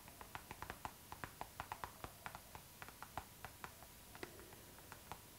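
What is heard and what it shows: Long acrylic nails tap and scratch a hollow, transparent pink PVC zipper pouch tilted toward the camera. About twenty-two quick, crisp clicks with a short, slightly hollow plastic ring near 760 Hz sound over a soft, hissy background, with brief scratchy brushes between some taps.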